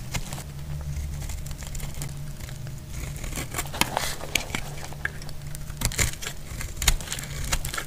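A solid, dry red soap bar held in the hand is shaved with a metal blade, peeling off curls. Dry, crackly scraping and crinkling runs throughout, with repeated sharp bright ticks and snaps over a steady low hum.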